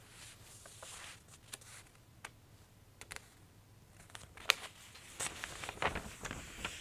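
A thin glossy paper J. Jill women's clothing catalog is held at its bottom edges by hands with long nails while the pages are squeezed and crinkled. Soft, bright paper crinkles and sharp, irregular crackles sound over a quiet background, growing denser toward the end as one page starts to turn.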